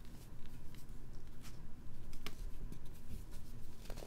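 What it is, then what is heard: Molded baking soda heart crumbling. A small, solid heart of pink-dyed baking soda, one of many laid out on a green mat, is crushed and crumbled between fingertips and thumbs into powdery chunks. The result is a steady, low, gritty crunching and crumbling with soft crackles and faint brighter ticks throughout.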